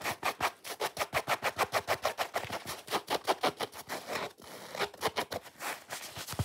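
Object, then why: Foam sponge. Long fingernails scratch fast and hard across the rind edge and red face of a solid, watermelon-shaped foam sponge. The result is a rapid run of dry, bright scratching strokes with a short break just past the four-second mark before the scratching resumes.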